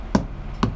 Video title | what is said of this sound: UK HGV Driver Keeping England Drunk. UK Trucking | sound nice and solid